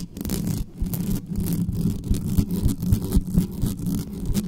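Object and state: Metal microphone grille.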